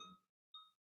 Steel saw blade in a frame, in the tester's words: a high-pitched sound when you flick it you can perform a concert with that